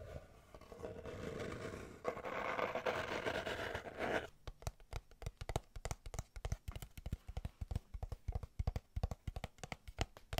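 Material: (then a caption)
Cardboard. Long nails scrape along the sides of a small, hollow kraft cardboard box held close to the microphone, making a continuous rough, papery rasp for about four seconds. The scraping then gives way to a rapid run of sharp, dry taps on the box, each with a hollow low thump and almost no ring.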